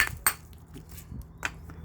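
An intact, complete charcoal briquette is struck twice with a hammer-like blow, each hit a sharp, bright clack that dies away almost at once over a low background hum. The whole briquette proves hard to break.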